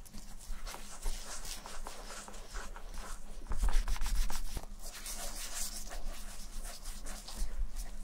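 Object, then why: Leather and suede ankle boot. Gloved fingertips rub shoe cream into the smooth leather toe and heel of a brown Levi's vintage leather and suede ankle boot, which is held empty and hollow in one hand. Soft, irregular rubbing and squeaking strokes sit over a steady low hum, growing louder and fuller in the middle before easing back.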